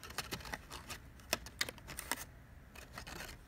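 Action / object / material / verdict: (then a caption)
tap / folded paper and card pop-up / paper / none. Fingertips press and rub a small paper flap on the front of a printed card pop-up house, a hollow folded structure inside a Harry Potter pop-up guide to Hogwarts. The result is a quiet run of crisp, dry paper taps and soft rustles at an uneven rhythm, each click bright and dying out almost at once.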